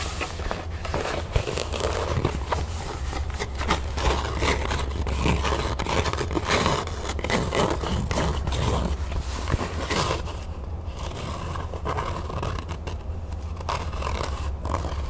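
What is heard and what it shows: Long nails scratch and tap across the fabric of an empty, flat cream canvas zipper pouch with a printed crown, held up in the air. The result is a dense, continuous rasping scratch with quick soft taps over a steady low hum, thinning slightly toward the end.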